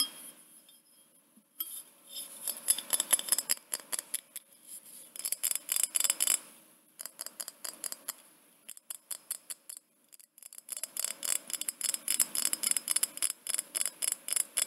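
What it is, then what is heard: Glass jar. Long painted fingernails tap and scratch the sides of a small clear glass jar with a threaded neck and dark contents inside, held in both hands. Quick, bright, high-pitched clicks and ticks come in irregular bursts with brief pauses between them, each tap dry and stopping almost instantly with no ring.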